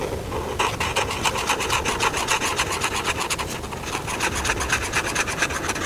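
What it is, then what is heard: Felt-tip marker rubbing on paper. A hand rubs a felt-tip marker back and forth over a thin paper coloring book page with a room drawing, filling in the rug and cushion. The result is a steady run of quick, dry, scratchy strokes with a bright hiss over a soft, low background rumble.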